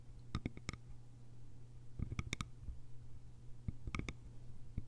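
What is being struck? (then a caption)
Small bamboo container with lid. Long nails tap the sides of a small, hollow, cylindrical bamboo container with a lid. Quick, dry clicks come in three short clusters over a steady low hum. Each tap is bright and decays almost at once.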